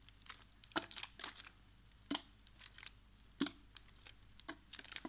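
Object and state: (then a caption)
Plastic water bottle, partly filled. A small clear plastic water bottle with a blue cap and white label, partly filled with water, is held in one hand, tilted and shaken while the fingers grip its thin, crinkly plastic. Sharp, bright crinkles and crackles come in irregular bursts, with soft liquid sloshing over a quiet background.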